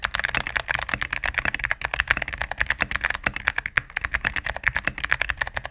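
A cream full-size mechanical keyboard with plastic keycaps on a solid plastic case is typed on rapidly with fingertips and medium nails. About 32 quick, crisp key presses are heard as bright, clacky taps with little low end. Each tap dies away almost instantly.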